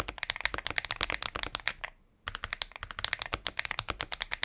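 A compact mechanical keyboard with a transparent plastic case and plastic keycaps, resting on a patterned desk mat, is typed on rapidly with the fingertips of both hands. The result is a fast stream of short, bright, clacky key taps centered around 2 kHz with almost no ring, broken by a brief pause near the middle before the typing resumes.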